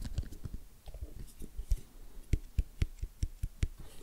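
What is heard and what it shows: Fingertips and nails tap rapidly on the lid of a small, white, rigid cardboard iPhone XS Max box with a printed image on the lid, sealed and hollow, lying on a wooden table. The taps are quick, dull and low-pitched with very short decay, growing sharper and more distinct toward the end.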